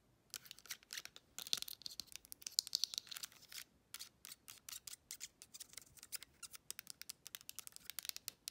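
Long acrylic nails rapidly tap and scratch the surface and buttons of a small, hollow, silver TV remote control with a metallic plastic finish and a round navigation pad, held in the hand. Dozens of quick, bright, dry clicks with almost no low end come in irregular bursts, with a denser stretch of scratchy rasping near the start. Each tap stops almost instantly, with no ring.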